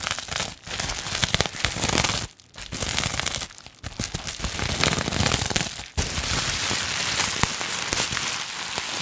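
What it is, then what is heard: Plastic bubble wrap being crinkled. A sheet of clear plastic bubble wrap is scrunched and crinkled in both hands with long nails. It makes dense, bright crackling and rustling with sharp little pops, broken by a few brief pauses.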